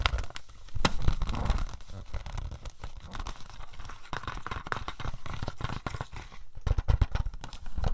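A hollow plastic DVD case for *No Country for Old Men* is tapped and scratched with fingernails, first on the front and then on the back. The result is a dense stream of quick, dry clicks and scratchy crinkling over soft, low, hollow thumps.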